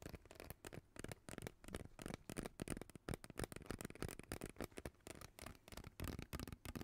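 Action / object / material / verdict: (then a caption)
scrape / ribbed plastic pop tube / plastic / none. Long nails scratch and tap a hollow, purple ribbed plastic pop tube while it is moved around near the mic. The result is a quick, irregular run of dry, crackly taps and ridged scrapes with a hollow low body. Each sound stops almost instantly with no ring.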